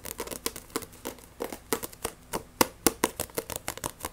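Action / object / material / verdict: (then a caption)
tap / paperback book with glossy card cover / paper / none. Long nails rapidly scratch and tap the glossy cover of a Shaman King paperback manga. About twenty-two quick, irregular clicks and scrapes sound dry and crisp, each with a bright edge and a tone around 500 Hz. Every one stops almost instantly, with no ring.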